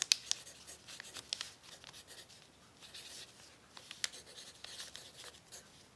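A pencil tip scratches across a thin, crumpled brown paper sheet on a table while writing, as a hand steadies the sheet. Quiet, bright, dry scratching and soft crinkling continue throughout, broken by a few sharp ticks and crackles.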